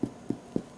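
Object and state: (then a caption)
Hollow-sounding baked sourdough loaf (done). Three quick, hollow taps on the bottom of a freshly baked spelt sourdough loaf, each a short, dull knock centered low around 250 Hz that dies away almost instantly. The hollow sound shows the bread is done.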